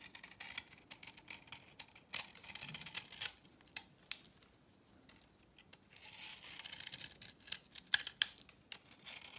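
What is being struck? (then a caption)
Soap bar scraped with a knife blade. A utility knife blade scrapes the surface of a solid, cross-hatched orange bar of dry vintage soap held in the palm, shaving off crumbly chips. The result is a quiet, bright, dry scratching made of short, irregular ticks and rasps, with a softer pause in the middle and two sharp, louder clicks near the end.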